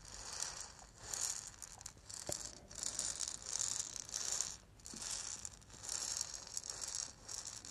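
A small, hollow, lacquered and painted wooden ball rattle is held in the hands, shaken and turned while long nails tap on it. It gives a bright, dry, high-pitched rattle that rises and falls in repeated swells, with a few short clicks from the taps and almost no low end.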